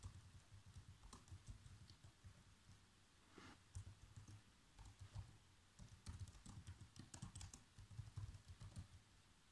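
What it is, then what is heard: Plastic laptop keyboard being typed on. Fingertips press the black plastic keys of a laptop keyboard, producing a steady run of soft, quick typing taps in irregular bursts. Each tap is a dull, low-weighted click that dies away almost instantly, with faint bright clicks on top, over a quiet background.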